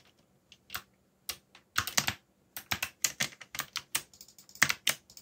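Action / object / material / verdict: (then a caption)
tap / plastic mechanical keyboard / plastic / none. Fingertips type on a backlit mechanical keyboard with black plastic keycaps, producing sharp, bright clicks in uneven bursts separated by brief pauses. The loudness shows about 17 distinct key strikes, each decaying almost instantly with little low-end weight.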